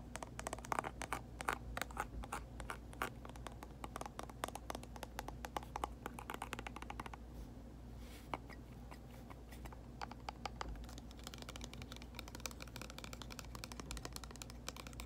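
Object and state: Plastic mist bottle tapped and scratched with nails.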